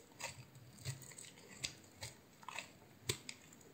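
A solid green oval bar of soap with a white core is held in the hand and sliced and scraped with a utility knife blade. The result is a quiet series of short, crisp, bright cutting and scraping sounds with soft low thumps beneath and almost no ring.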